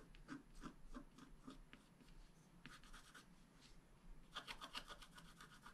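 A flat black-coated scratch-art card, held flat by one hand, is scraped with a wooden stylus in short strokes. Soft, dry, bright scratching strokes come in a loose rhythm over a faint low hum, with a denser, brighter burst of scraping near the end.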